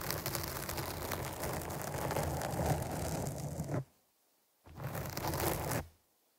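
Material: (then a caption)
Foam. Long nails scratch the top and side of a black foam windscreen on a microphone, producing a dense, crackly, rustling scrape with a heavy low rumble. A long stretch of scratching stops abruptly, then after a brief silence a second, shorter burst follows and cuts off.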